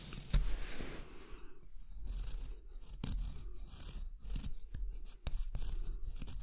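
A marker pen tip is drawn across a large, solid rectangular block of light wood held flat on a dark surface, tracing a spoon outline. Dry scratching and rubbing sounds along the grain are heard, broken by short sharp ticks, over a steady low rumble.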